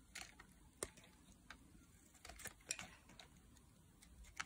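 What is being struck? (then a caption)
Bar soap cut with a metal blade. A solid block of dry teal bar soap, held in the hand, is carved with a metal utility blade. The result is a quiet, scattered series of short, crisp scraping and cutting clicks that are bright and dry and die away almost instantly.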